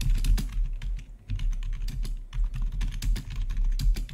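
Fingertips of both hands type rapidly on the keycaps of a full-size black plastic membrane-style gaming keyboard with blue-to-red backlit keys. The result is a fast, uneven stream of short, bright tapping keystrokes that barely ring, over a steady low hum.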